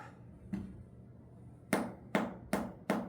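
A home-grown jackfruit is tapped five times to check whether it is ripe. Each tap is a short, dull, hollow thud with a low tone around 220 Hz that fades almost at once. The sound marks the fruit as ripe, and it feels soft when pressed.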